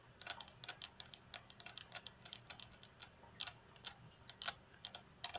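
Long fingernails of both hands tap on the flat, solid glass tabletop of a computer desk. There are 26 quick, light clicks in an uneven rhythm, bright and sharp with almost no ring and very little low end, and the sound stays quiet throughout.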